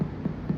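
Percussion over Traube's space on a human abdomen, where the gastric fundus holds only air, gives a low, hollow tympanic note centred around 150 Hz. Each strike swells and fades quickly, with no high content. The space sounds free, a normal tympanic result, unlike the duller, more muffled note over the liver.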